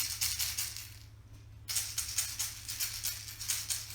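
Two plastic eggs filled with rice, pennies or dry beans are shaken in a sound-matching game, giving bright, maraca-like rattles with a short pause in the middle. The two eggs sound the same, so they hold the same filling.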